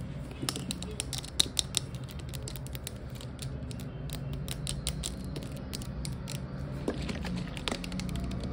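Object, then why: Plastic spray bottle. Long white acrylic nails rapidly tap and scratch a clear plastic Glade rose air freshener bottle with a spray cap, about 460 ml, hollow and partly filled with liquid, lying on its side. Quick, dry, bright clicks and scratchy ticks come in a fast, uneven stream over a steady low rumble.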